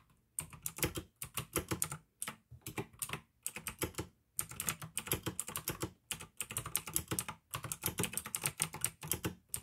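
Fingertips type on a pink AUKEY plastic mechanical gaming keyboard with blue switches, producing bursts of crisp, clicky keystrokes separated by short pauses. Each click is sharp and bright with a short thock underneath and almost no ring.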